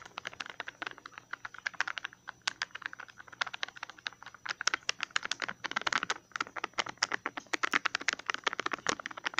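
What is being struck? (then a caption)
Small plastic tub with ridged lid. Fingertips and nails tap and scratch the ridged, labeled lid and sides of a small, hollow green plastic tub. The result is a rapid, irregular run of dozens of dry, clicky taps with no low end, each very short and bright. Bursts of faster tapping are mixed with light scratching.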